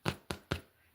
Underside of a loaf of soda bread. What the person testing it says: It's nice and firm. And I can hear it's hollow inside.